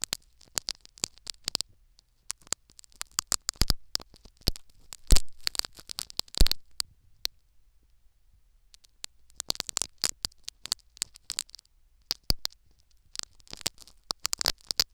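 Needles repeatedly poke and scrape a foam sponge plug set in the canal of a silicone ear microphone. The result is close, crackly scratching with quick, bright clicks and rustles. The scraping comes in irregular bursts separated by brief quiet gaps, with a few louder scrapes.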